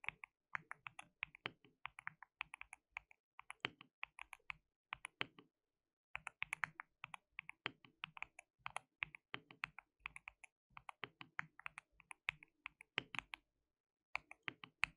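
Both hands type continuously with their fingertips on a compact white-cased mechanical keyboard with a hollow case, white and pink plastic keycaps, and RGB backlighting. Quick bursts of bright, sharp clacks stop dead with almost no ring and carry very little low end. Brief silent pauses fall around the six- and fourteen-second marks.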